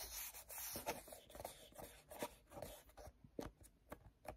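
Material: Plastic.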